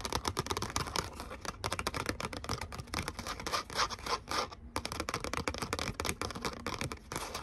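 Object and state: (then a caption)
Glitter cardstock cutout. Long nails rapidly scratch and tap a thin gold glitter cardstock cutout of the letter "O" held up in the air. The result is a dense run of dry, crisp clicks and gritty, bright rasps, with brief pauses near 1.6 and 4.7 seconds.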